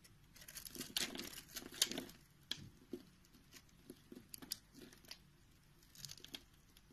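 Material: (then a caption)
Soap. A utility knife shaves and scrapes the pre-scored surface of a round, solid orange soap bar held in the hand, releasing flakes and cubes. The result is irregular bursts of dry, crisp, bright crackling and scraping, with short clicks that die away almost instantly, over a quiet background.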